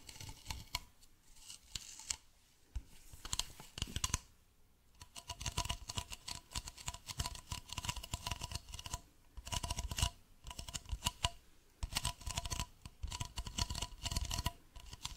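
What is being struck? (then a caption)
Plastic bottle. A medium, hollow white plastic bottle is held sideways and scratched and tapped with fingernails. Dense bursts of bright, crisp scratching alternate with quick, dull taps that carry a low hollow thump, separated by short quiet gaps.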